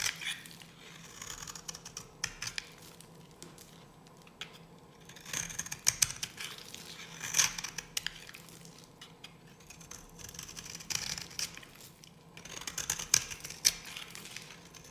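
A solid, dry green bar of soap held in the hand is carved and scratched with a metal blade, shaving off crumbly green flakes. The clip is made of dry, bright, crackly scraping and crisp cutting clicks that come in bursts. A faint steady low hum sits underneath.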